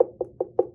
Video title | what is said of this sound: Pumpkin Science - PreK Science - Teaching in Room 9 | it's hollow or open on the inside